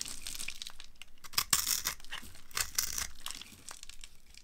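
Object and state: Dry bar soap being carved.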